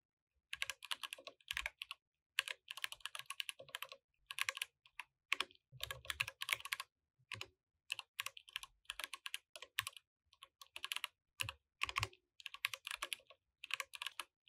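A compact mechanical keyboard with plastic keycaps is typed on with the fingertips of both hands, with no mouse use. Bursts of bright, sharp clacks come in quick runs separated by short pauses. Each keystroke cuts off almost instantly, with little low-end weight.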